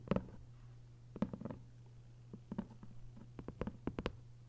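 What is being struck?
Hardcover book with paper dust jacket.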